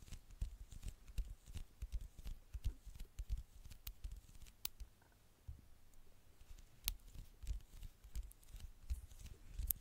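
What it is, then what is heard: Glass smartphone screen. Long nails tap on the dark glass screen of a small, flat smartphone with a gold frame, held in the hand. The taps come quietly and irregularly as soft, dull thumps, some with short, bright clicks that die out at once. There is a brief lull partway through.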